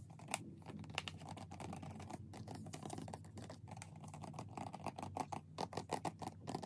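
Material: Cardboard.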